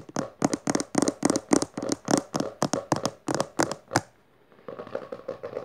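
Long nails of one hand, then both hands, scratch and tap the textured maroon cover of a closed hardcover book resting on purple fabric. Fast, uneven bursts of dry, bright scratching and tapping come for about four seconds. After a brief pause, quieter, lighter ticking follows.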